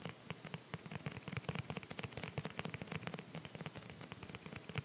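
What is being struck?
Clear rubbery plastic phone case.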